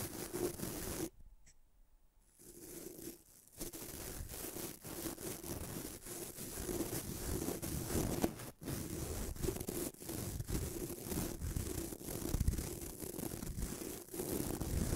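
Fingertips rub and flick the white nylon bristles of a small bamboo toothbrush, producing dense, uneven scratching and rustling with quick crackly bursts. The sound is full and low-heavy, dropping to near silence briefly after the first second before the steady scratchy brushing resumes to the end.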